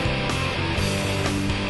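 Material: Nothing is struck.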